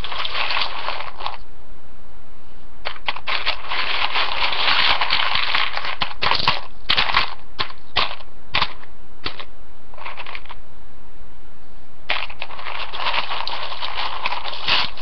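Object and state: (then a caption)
Dry spiral pasta in a ceramic bowl. Fingertips lift handfuls of dry rotini spiral pasta from a ceramic bowl, let them fall back, and dig into the pile. The result is dense, crackly clicking and rustling in bursts, with a bright upper-mid character and short pauses between them.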